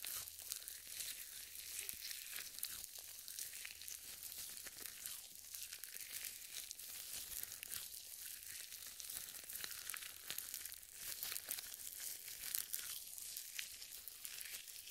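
Purple nitrile gloves coated with lotion rub together as the interlaced fingers slide and squeeze. The result is a quiet, continuous wet crinkling and squelching, mostly bright and high with almost no low end.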